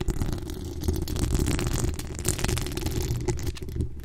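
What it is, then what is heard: Metal mesh microphone grille being scratched. Long acrylic nails scratch and tap the hollow steel mesh grille of a pink decorated microphone. The result is a steady, dense, boomy scratching rumble, mostly low-pitched, with quick muffled taps and faint bright rasping scattered throughout.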